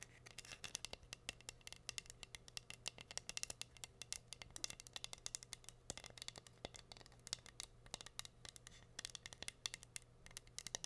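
Long nails scratch and tap across the gem surface of a flat, solid heart-shaped wooden board covered in pink rhinestones. Dozens of quick, bright, dry clicks and scratchy ticks come in irregular bursts with almost no ring, over a faint steady low hum.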